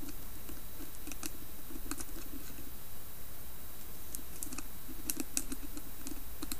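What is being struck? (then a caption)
Carved wooden lidded bowl. Long nails tap and scratch along the carved side of a round, hollow carved wooden lidded bowl held in the hands. Quick, light clicking taps mix with soft scratching over a steady low background rumble, each tap fading almost at once.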